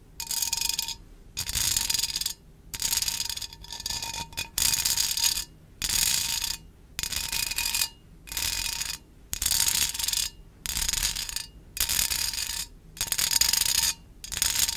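Long acrylic nails scratch and tap the side of a small, hollow, empty metal wire mesh pencil cup held near the microphone. Short bursts of bright, hissy, rasping scratching come in a steady on-off rhythm with brief silences between them. Faint ringing tones sit under each burst.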